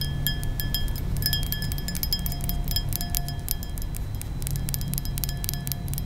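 Long nails tap and clink rapidly on the rounded bowl of a thin, nearly empty glass balloon brandy snifter. Each tap gives a bright, chime-like ring near 3.2 kHz that fades in under a second, over a steady low rumble.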